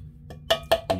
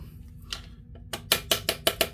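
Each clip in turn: First: tight V-band clamp. Second: loose turbo V-band clamp.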